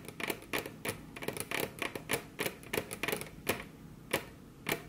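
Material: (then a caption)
Wood. Very long curved nails tap their tips on a flat, solid, glossy dark-brown wood-grain table top, with both hands resting on the table. It makes an irregular run of quick, dry clicks, each with a bright, crisp attack and a short woody knock that dies away almost at once.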